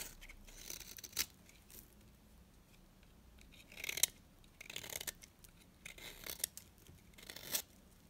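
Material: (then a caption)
Soap. A small, solid, dry orange bar of soap is held in the hand while a metal blade shaves and scrapes its surface. The scraping comes in short, dry, bright bursts with quiet pauses in between, with a few sharper crisp snaps.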